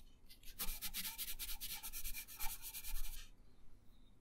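A colored pencil shades a thin paper coloring page resting on a wooden table, making quick rubbing and scratching strokes. The dry, bright scratching repeats steadily for about three seconds, then stops, leaving faint quiet.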